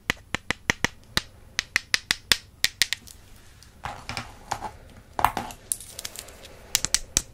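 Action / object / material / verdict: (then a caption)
tap / slim wooden makeup brush handles / wood / none. Two slim, solid wooden makeup brush handles, held in hands with long purple nails, are tapped rapidly against each other. The result is a run of sharp, dry, bright clicks that die away almost instantly. Steady, evenly spaced taps give way to softer, more irregular knocking with faint scraping before a few crisp clicks close the clip.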